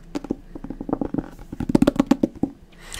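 A single light green paperback manga volume with a glossy paper cover, held solid in one hand, is tapped on the cover with the fingertips of the other hand. It makes a quick series of soft, dull taps with a short ring and a low-mid tone, growing denser and louder toward the end.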